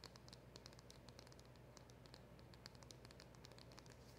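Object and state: Cardboard box tapped with long nails.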